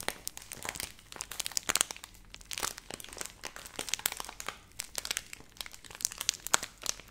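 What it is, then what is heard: Plastic pouch crinkled. A hand-sized Nestle Everyday laminated plastic milk powder pouch, apparently filled, is crinkled and rubbed with long nails and fingertips close to the mic. The result is a steady run of bright, crisp crinkles and sharp little crackles with almost no low end, each snap dying away instantly in quiet, close-up texture.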